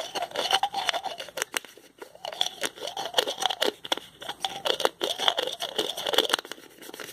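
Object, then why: Plastic pill bottle with screw cap. The cap of a small white plastic pill bottle with a blue label is twisted with the fingertips, making a fast run of ratcheting clicks. The crisp clicks come in bursts with a brief pause partway through, over a bright, steady high tone and a light scraping grind. Each click dies away almost instantly.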